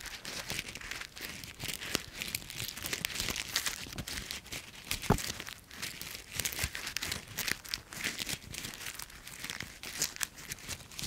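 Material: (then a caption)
Leaves. Dry brown autumn leaf pieces are squeezed and crumpled in one hand with the fingers and palm in front of a microphone. A steady, bright crinkling crackle runs throughout, broken by sharper dry snaps, with the loudest crunch near the middle. The leaves break into smaller crackling fragments.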